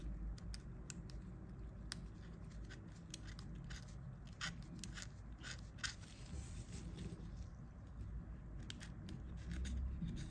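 A pointed pick scratches grime from the keypad edges of an old Nokia 1110, a small hollow plastic mobile phone held in gloved hands, and the phone is tilted partway through. Irregular sharp, bright ticks and scrapes come quickly over a steady low rumble.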